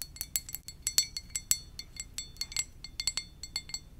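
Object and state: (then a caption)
Ceramic mug tapped with nails. A white ceramic coffee mug with a lips print, hollow and empty, is held in both hands and tapped with long dark nails. It gives a quick, irregular series of light, bright clinks with a high ringing tone that dies away almost at once.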